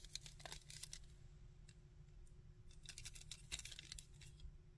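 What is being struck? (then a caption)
Hard plastic action figure. Fingernails tap and scratch a hard plastic Sandman action figure, working over its body and the underside of its molded feet. Quick, bright clicks and scratchy rasps sit over a steady low hum, with some bursts of denser scratching.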